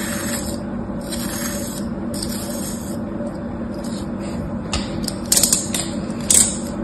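A thin metal tool slices and scrapes grooves into a molded slab of beige kinetic sand resting on a palm. Soft, bright hissing scrapes repeat over a steady low hum, and a few sharper, louder cuts come near the end.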